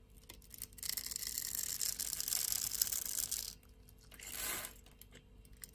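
A box-cutter blade carves small cubes off the scored grid surface of a solid pink rectangular bar of soap held in the hand. It makes a bright, dense crackling scrape for about three seconds, then falls quiet. A shorter, softer swipe follows.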